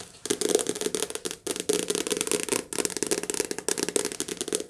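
Long nails tap and scratch a softcover paperback book, first on the cover and then along the page edges. The result is fast, dry, crackly clicking with a mid-range body near 430 Hz and a bright, papery top. It comes in three dense bursts separated by short pauses.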